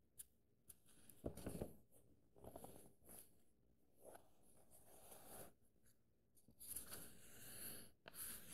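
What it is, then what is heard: Paperback book pages. Pages of an open paperback book are flipped quickly, then fingertips trace and scratch over the paper text. Soft, dry papery rustles and scratching swell and fade in quiet bursts, with brief crisp high edges.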